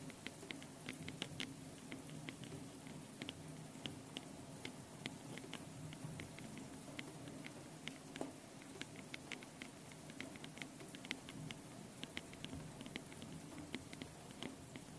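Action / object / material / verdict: tap / metal mesh microphone capsules on a handheld recorder / metal mesh / none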